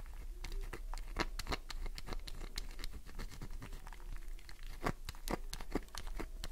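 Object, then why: Glycerin soap bar. A solid green glycerin soap bar is scratched and tapped quickly with long nails. The result is a dense run of short, dry scratches and taps with a faint crinkly texture over a low background rumble. No count is given because the strikes blur together.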